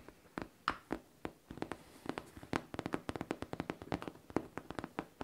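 Long painted nails tap on a hollow pink faux leather backpack in a quick, irregular series of short, dry clicks. Each tap has a soft low-mid knock and dies away almost instantly. The tapping starts sparse and then becomes rapid and dense.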